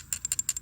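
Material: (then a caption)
Fired clay. A pottery shard rattles inside a sifting basket of creek gravel being sifted, giving a quick series of bright, high-pitched clicks and ticks with almost no low end. Each tick dies away almost instantly, and the rattle signals that something is caught in the basket.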